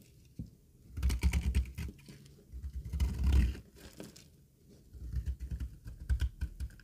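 A green rectangular bar of solid dry soap embossed with lettering, held in the palm, is shaved with a utility knife blade. Clusters of short, dry, crumbly scraping strokes come in three bursts, heavy in low thuddy tones with brief flicks of brighter crackle and quiet pauses between.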